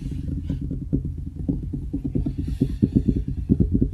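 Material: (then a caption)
Wood. Fingertips of both hands tap quickly on a large, solid wooden desktop around the microphone. The taps are short, dull and woody, mostly low in pitch, with almost no ring. They come in a fast, irregular patter that grows slightly louder and more pronounced toward the end.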